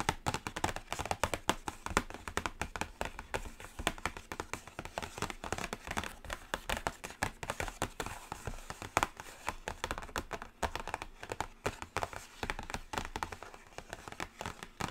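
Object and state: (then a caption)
Cardboard eyeshadow palette. Long nails on both hands tap quickly and continuously on a black Carnival cardboard eyeshadow palette. The result is a dense stream of short, dry clicks that die away almost at once, centered in the mid range with some bright edge.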